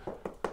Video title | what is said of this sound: How To Fix Paint Flaking And Peeling From Bedroom Ceiling | everybody knows what a hollow sound sounds like. Like, you know, there's some sounds of emptiness right there.